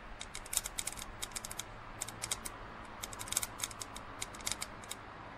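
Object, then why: Plastic drinking cup. Fingernails tap rapidly on the side of a hollow, empty printed plastic drinking cup lying on its side on a plastic lid, producing about thirty quick, bright clicks in uneven bursts. Each tap is sharp and dry, dies away almost instantly, and sits over a faint low background hum.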